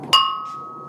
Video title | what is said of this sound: LE FEUILLETON : À Pornic, l'artisanat ne manque pas de bol | ça résonne bien comme ça c'est que la pièce est bonne